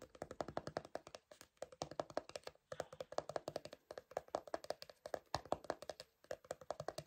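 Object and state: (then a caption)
Plastic cosmetic jar. A small, hollow, round cream-colored plastic cosmetic jar is tapped rapidly with fingertips and nails on its lid side, producing quick bursts of short, dry, hollow clicks with a tone around 620 Hz. The taps come in uneven clusters separated by brief pauses, with some speech present, at a quiet level.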